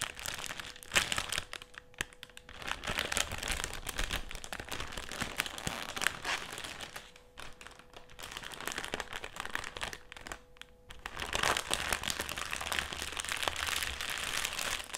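A black foil-lined metallised plastic crisp packet is lifted and shown, then folded flat and pressed with the palms. It gives dense, bright crinkling and crackling throughout, with brief quieter lulls around 2.5, 7 and 10.5 seconds and a faint steady hum underneath.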